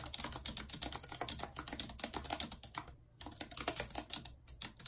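Very long red acrylic nails and fingertips type fast and continuously on the hollow plastic keys of a full-size white and silver computer keyboard with a numeric keypad, lying on a map. About 36 sharp, bright, clicky taps come in a rapid stream, with a brief pause around the three-second mark before the typing resumes.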